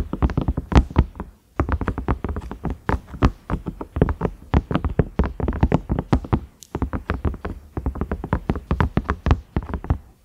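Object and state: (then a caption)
Silicone microwave lid. Fingernails tap and scratch across the ridged surface of a large cream microwave lid, likely silicone, with a round knob. The result is fast runs of short, dull, low-heavy taps with almost no ring, separated by brief pauses.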